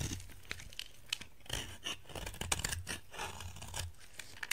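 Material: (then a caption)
Soap. A utility knife blade scrapes and shaves crumbly flakes off a solid, dry orange soap bar held in hands with black nails. Dry, crunchy scraping and crackling come in short bright bursts over a faint low rumble, and flakes crumble away from the bar.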